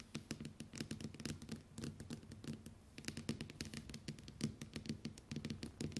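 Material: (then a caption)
Glass. Long white acrylic nails on both hands rapidly tap and scratch the glass screen of a small, solid, flat smartphone with a metal/plastic frame lying on a wooden table. The result is a quick, uneven stream of short, dry clicks, each with a bright edge over a low knock near 220 Hz, dying away almost at once and mixed with soft scratchy friction between taps.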